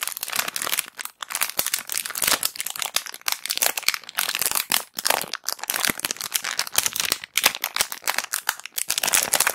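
A small clear thin-plastic bag of round white cotton pads, not sealed full, is crinkled and squeezed with long black acrylic nails and fingertips close to the recorder. Dense, bright crackling and crinkling comes in rapid bursts with short quiet gaps, almost no low end and no ringing after each crackle.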